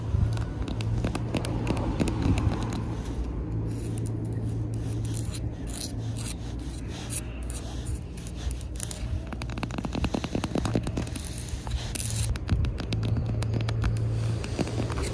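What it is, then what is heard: Plastic playground drum scratched with fingernails. Long red nails scratch and rub across the textured, embossed top of a round, hollow, blue hard-plastic playground drum set in sand. The result is a steady run of quick, uneven scraping strokes over a deep, hollow low resonance, with faint bright rasping edges.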